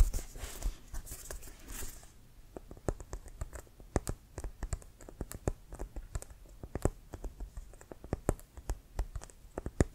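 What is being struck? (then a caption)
Synthetic-leather American football. A full-size inflated, hollow brown pebbled composite synthetic-leather American football with a white stripe is held in the hand and scratched, then tapped with fingertips and short nails. About two seconds of soft, hissy scratching give way to dozens of quick, dry taps with dull, low, hollow thuds that die away almost instantly.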